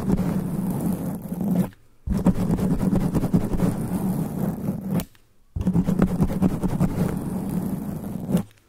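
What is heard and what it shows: Black extra-long nails of both hands, cupped around a black foam sponge cover on a standing microphone, scratch it quickly. The result is a dense, muffled, rumbling scratching with a low hum-like tone, heard in three long bursts separated by brief silences.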